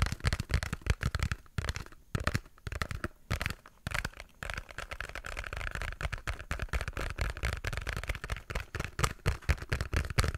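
A small pink cardboard box held right up close is tapped and scratched with fingertips and nails. Rapid, dry, boomy taps mix with crinkly scraping, with a few brief gaps early on, then a steadier run of scratching and tapping to the end.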